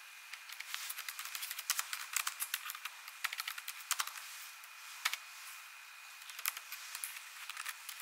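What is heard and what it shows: Long nails and fingertips type quickly on an ASUS laptop keyboard with plastic keys, producing rapid, bright, dry clicking taps with almost no ring. The bursts come in irregular clusters with brief pauses, over a faint steady tone near 2.2 kHz, with no low end.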